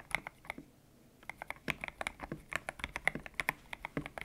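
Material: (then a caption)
PBT plastic. Fingertips type on a white-cased mechanical keyboard with grey and pink PBT plastic keycaps, its hollow case resting on a desk mat. There is a short burst of keystrokes, a brief pause, then a steady run of quick typing. Each key gives a sharp, bright clack centred near 2 kHz that dies away almost instantly, with very little low end.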